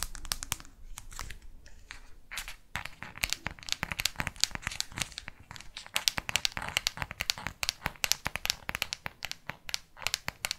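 A black smartphone with a matte plastic back, held in both hands, is tapped and scratched with long artificial nails. Dense, rapid clicking taps mix with bright, crinkly scratching, each tap short and dry with almost no ring. The result is a steady, crisp stream of high-pitched clatter throughout.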